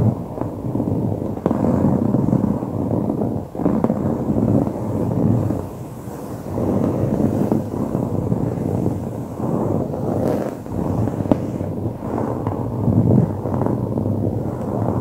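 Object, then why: Padded woven fabric upholstery. Both hands scratch and tap dark grey, coarse-woven fabric upholstery on a padded surface with short fingernails and fingertips. A dense, steady, low-to-mid scratching rustle fills the clip, broken by brief dips and punctuated by sharp, dry taps. There is almost no bright top end.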